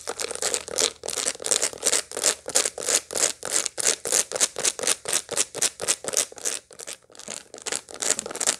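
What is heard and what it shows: Long light-blue nails scratch and tap the seeds of a dried sunflower head held in the hands. The result is a rapid, fairly steady series of short, dry, crackly rasps, bright and hissy with almost no low end, with a brief lull near the seventh second before the scratching resumes.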